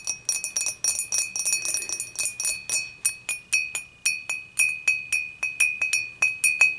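Long matte nails on both hands tap the sides of an empty, upright, clear dimpled glass beer mug in quick, irregular bursts. Each tap gives a bright, glassy clink ringing around 2.5 kHz with high overtones. The clinks fade within about a tenth of a second and there is no low end.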